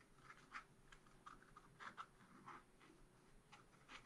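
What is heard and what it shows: A long wooden stylus scratches across the lower part of a picture on a thin, black-coated scratch-art card in a spiral pad. Quiet, dry, scratchy strokes come in short, uneven bursts with a bright, rasping edge over a soft, faint background hiss.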